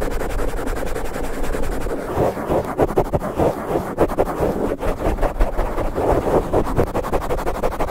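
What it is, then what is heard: Foam microphone windscreen being scratched. Flat hands and fingertips quickly rub and scratch a black foam cover on a large microphone from both sides. The result is a dense, fast, muffled scratching and rustling, heavy in the lows and mids with almost no brightness, and the strokes run together without clear breaks.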